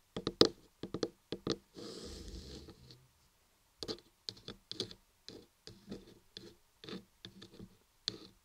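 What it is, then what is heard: Carved laundry soap block. A long fingernail and fingertip tap and scratch the top and front face of a large, solid white carved laundry soap block with raised "RAPPELER ASMR" letters and a microphone inside. Quick, dry, hollow-sounding taps repeat throughout, broken by a steady, bright scraping rub from about 1.7 to 3 seconds. Each tap dies away almost instantly.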